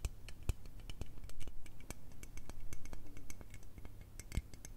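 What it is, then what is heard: Aluminium aerosol spray can. Long red nails tap and scratch along the length of a hollow, teal L'Oreal aluminium aerosol spray can with a metal body. The result is a rapid run of light, dry ticks and bright metallic clicks that die away almost instantly, mixed with soft scraping over a steady low hum.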